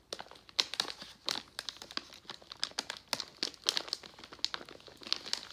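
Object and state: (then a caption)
Plastic foil candy bag. A plastic foil Jolly Rancher candy pouch is turned over and pressed flat by hand. It gives a rapid run of sharp, bright crinkles and crackles with almost no low end, each snapping off quickly.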